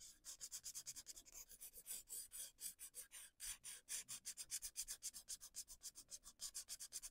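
A hand with dark painted nails rubs a felt-tip marker across a printed paper coloring page, solid and thin, lying flat on a board on a wooden table, in continuous coloring strokes. About 37 quick, bright, hissy scratching swipes come in a loose rhythm of roughly four per second. Each stroke stops dead with almost no low end.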